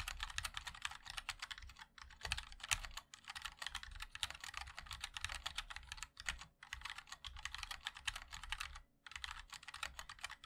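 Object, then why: Mechanical keyboard with plastic keycaps. A compact 60% mechanical keyboard with a black case, white and black plastic keycaps and linear switches sits on a wooden wrist rest as the fingertips of both hands type on it continuously. A fast stream of short, bright plastic clacks fills the clip, with a few brief pauses near 2, 3, 6.5 and 9 seconds.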